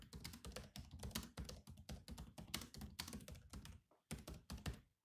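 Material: Plastic.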